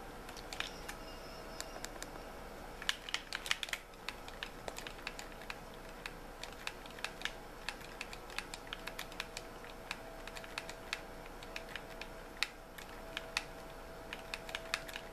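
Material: Plastic.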